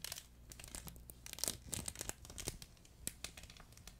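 A fuzzy yellow plush duck pet toy with a crinkle insert is crumpled and squeezed with both hands. A quiet, dense run of bright, papery crinkles and crackles comes with soft fabric rustling. Each burst cuts off quickly, with no ring.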